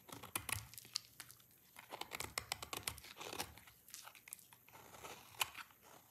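A rectangular solid bar of dry red soap is repeatedly shaved with a utility knife blade in scraping strokes, the shavings falling onto a pile. The sound is a quiet, dry, bright crackling and crisp scraping with many short, sharp snaps, in irregular bursts with brief pauses between strokes.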